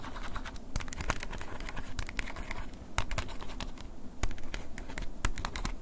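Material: Plastic.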